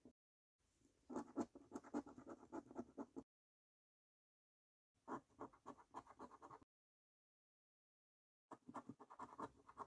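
A coin scratches the latex coating off the panels of a thin, flat paper £15 3x £1 Million Snack Stack National Lottery scratchcard. Three bursts of quick, gritty rasping strokes are separated by silent pauses, with a dry, bright scraping texture and no ring.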